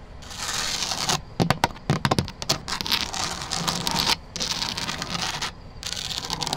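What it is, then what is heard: Plastic rattan wicker planter. Long black nails scratch and tap across the woven surface of a large, hollow, grey synthetic rattan outdoor planter. Steady bright, dry scraping is broken by a burst of quick, sharp taps early on and by brief silent pauses. Each tap dies away almost instantly.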